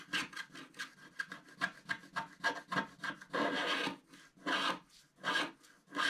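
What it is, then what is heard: Wax-coated scratch art card being scratched. A wooden stylus scratches the roof area of a black wax-coated scratch art sheet lying flat. It makes a series of quick, dry, bright scratching strokes in an irregular rhythm. A few longer, sustained scrapes break it up, and each stroke stops with no ring.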